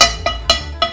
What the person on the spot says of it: Oh, it sounds hollow. That's a good sign.